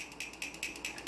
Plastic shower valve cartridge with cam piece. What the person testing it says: you shake it you're going to notice that it rattles like a baby rattle once you've done that this valve is basically repaired